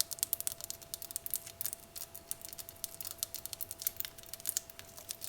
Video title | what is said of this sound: ASMR * Mini Glass Vases * Fast Tapping/Scratching! * Soft Spoken * ASMRVilla | it's a thick glass you can hear how thick it is as i tap on the bottom